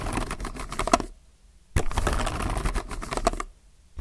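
Fingertips type on a compact mechanical keyboard with plastic keycaps, producing two bursts of rapid, clacky keystrokes separated by a short pause. The clicks are short and dry with a low, full body and a faint mid-pitched tone near 680 Hz.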